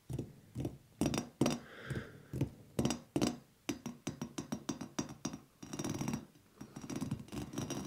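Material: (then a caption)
Glass. A hollow, frosted glass bowl shade on a ceiling-mounted light fixture is tapped with the fingertips and nails of both raised hands, picked up by wrist microphones. Quick, irregular, hollow clinks with a low body around 240 Hz die away almost instantly. Later the taps blur into brighter, rattling clusters of nail clicks.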